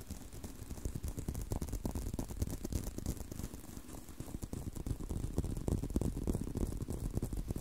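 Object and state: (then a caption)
Leather belt. Fingertips and nails scratch and tap a brown leather belt with holes and a solid strap. The result is a steady, dense stream of quick, dull taps and soft rubbing, mostly low and muffled, with a faint bright hiss and no ring after each touch.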